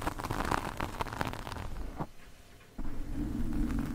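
Metal fork tines scratch and drag across a large black foam windscreen on a microphone from both sides, producing dense, rough, muffled scraping with heavy low rumble. The scratching thins to a quiet, soft rustle for a moment near the middle, then resumes as a steadier, fuller drag.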